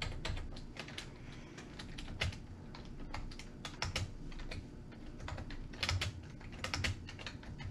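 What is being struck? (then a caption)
Plastic computer keyboard. A full-size beige and grey plastic computer keyboard with hollow key switches sits on a wooden table while both hands type fast with their fingertips, pressing and tapping the keys continuously. A dense, steady stream of sharp, hollow clacks with bright tops rides over a low, thumpy body. Each keystroke dies away quickly.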